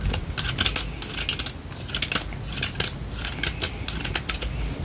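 A lilac plastic vented detangling hairbrush, held in one hand, has its open spiral frame and bristles tapped and scratched with long painted nails. Quick, crisp plastic clicks and taps come in a rapid, uneven stream over a soft scratchy rustle. Each tick is bright and dies away almost instantly.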